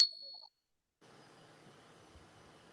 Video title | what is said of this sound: Hershey's said there could be chocolate shortages this fall. | It rings a long time.